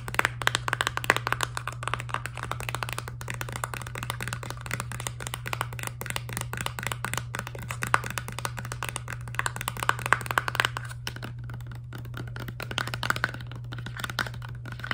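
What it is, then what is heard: Plastic toothpaste tube. Long nails tap rapidly and continuously on the back side of a filled laminate plastic toothpaste tube for about 15 seconds. They make a dense stream of short, dry clicks with a bright tone over a steady low hum.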